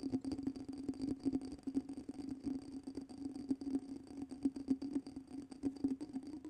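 Fingertips and nails tap the sides and top of a small, round, clear glass jar held in one hand and filled with water and glitter. Quick, uneven taps follow one another without pause, each a short glassy tick over a steady low-mid ring with a faint high, thin tone above it.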